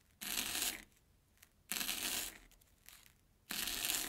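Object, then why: Airy corn puff snack stick cut with a steel knife on a plastic board. An airy Banana Kick corn puff stick rests on an orange plastic board and is chopped with a steel kitchen knife. Three separate bright, crunchy bursts are heard, each a short, dry crackle lasting about half a second, with quiet gaps between them.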